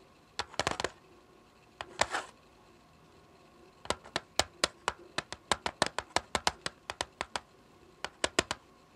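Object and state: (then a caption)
Plastic CD jewel case tapped with fingernails. Long fingernails tap and drum on the top of a small, flat, hollow clear plastic CD jewel case lying on a patterned surface. Early on there are a few brushing, scratchy bursts. These are followed by a long run of sharp, bright, dry clicks that die away almost instantly, with short pauses between groups.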